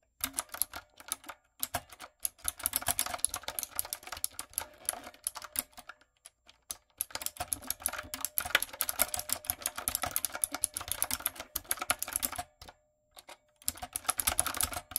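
Rapid fingertip and long coffin-nail tapping on a typewriter-style backlit mechanical keyboard with round brown plastic keycaps on a dark frame. The bright, clicky keystrokes come in quick bursts with short pauses between them. Each tap is sharp and dies away almost instantly.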